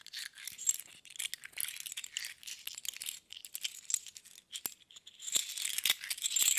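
Several small hollow metal thimbles are held in both palms and shaken so they rattle against each other. The result is a dense, continuous stream of bright, tinny clicks and clinks with tiny ringing glints, almost entirely high with no low end, growing busier and louder toward the end.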